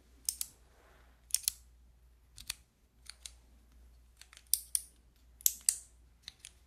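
Long nails press and tap the white keycaps on a handheld fidget toy with a clear plastic frame. About a dozen quiet, sharp, bright plastic clicks come in an irregular rhythm, some in quick pairs. Each click is very short with almost no ring and little low end.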